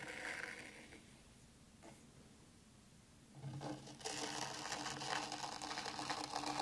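A small wooden mini rake, held in a hand with long nails, is drawn back and forth through fine white sand in a black round tray, raking lines into it. The soft, gritty scraping starts quietly, fades through a hushed stretch, then grows into louder, bright, hissy strokes for the last few seconds.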